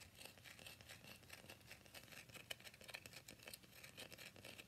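Fingernails quickly tap and scratch the surface of a solid, cream-white rectangular bar of soap held upright in both hands. The result is a quiet, steady stream of dry, bright scratching and crisp clicking that is mostly high-pitched with very little low end. A slightly sharper tap stands out about halfway through.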